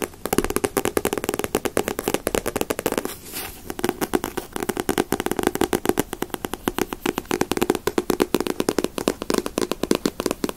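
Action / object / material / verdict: tap / paperback book with glossy paper cover / paper / none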